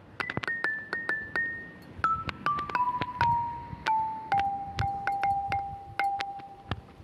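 A hand strikes a mounted set of long, solid grey limestone bars bolted onto a stone frame outdoors, using a homemade mallet with a carbon fibre shaft and rubber ball head. Sharp clicky strikes ring out as clear, short-lived tones in a descending melody, from about 2 kHz down to around 800 Hz.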